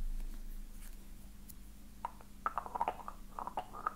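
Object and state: Ornate metal box.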